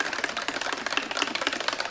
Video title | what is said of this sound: Createx 4030 Balancing Clear Problem! | When I shake it... you can hear the little ball moving around inside.